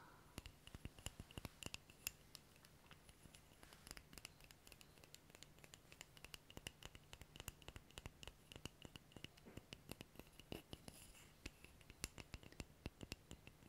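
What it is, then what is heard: Wooden object. A wooden object is tapped rapidly and repeatedly with light fingertip taps, giving many short, dry clicks with almost no ring. The taps come in quick bursts over a faint low hum, with bright clicky edges and a soft, close feel.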